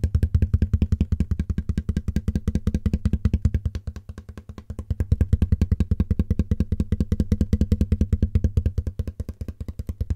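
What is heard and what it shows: A large, empty, hollow corrugated cardboard shipping box, held up beside the microphone, is tapped on its side with fingertips and nails. It makes a fast, continuous patter of dull, deep, boomy thumps that each die away almost instantly. The taps carry almost no bright edge, and the level briefly dips partway through before swelling back.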